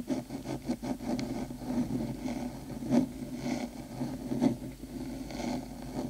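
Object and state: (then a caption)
Metal microphone housing being scratched. Long pointed acrylic nails on both hands scratch along the metal top of a hollow, black metal cylindrical 3Dio binaural microphone housing, near the ear. The result is a steady, close rasping and scraping texture centered in the low-mids around 266 Hz, with rhythmic strokes and two louder scrapes standing out near the 3- and 4.5-second marks.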